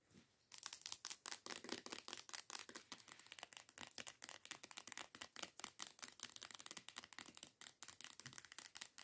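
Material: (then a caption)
Plastic. Long acrylic nails rapidly tap and scratch the surface of a medium teal plastic body scrub bottle lying on its side, hollow, with unknown contents. After a brief quiet start, a dense run of crisp, bright clicks and scratchy rasps continues throughout. The sound has almost no low end, and each tap dies away quickly.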